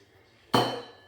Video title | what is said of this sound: Noel c'est comment chez vous... VLOG | ils font pas du tout le même bruit que mes verres